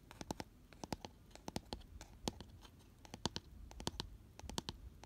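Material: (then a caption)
Cardboard. Fingernails scratch the flat inner base of an empty, hollow, round cardboard gift box with a white paper lining, held on its side. Quick, dry scratching clicks come in rapid bursts, each short and crisp with a bright edge and a hollow papery body. The strokes are fairly quiet and die away almost instantly, with faint rustling between them.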